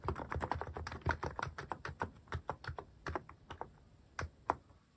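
Fingertips type on a mechanical keyboard with a white plastic case and cat-shaped plastic keycaps, resting on a wooden desk. Short, dry clacks with a soft low thump come in a quick, dense run for about three seconds, then thin out into scattered, separate presses before trailing off.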